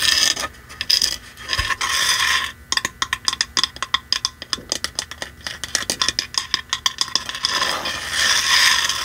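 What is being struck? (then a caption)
Painted wooden box sign. A red painted wooden box sign, held upright in both hands, is tapped and scratched with long manicured nails on its front face and edges. Bright, hissy scratching opens the clip, then gives way to a rapid series of short, crisp, high taps with almost no ring. Scratching returns at the end.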